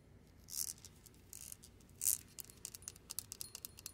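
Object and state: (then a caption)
Metal safe dial knob scratched and tapped. A long light-pink fingernail scratches and taps along the ridges of a metal safe combination dial knob and its recessed metal bowl. Bright, high-pitched scrapes swell twice, the second louder, then a quick, uneven run of short, dry ticks follows. The sound is quiet overall, with almost no low end.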